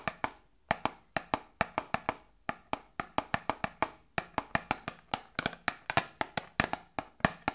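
A small hollow cardboard Grippostad medicine box is tapped with long nails, giving about 36 quick, dry, hollow knocks in an uneven rhythm. Each knock is short with almost no ring, and the sound is mostly mid-range with a slight bright click.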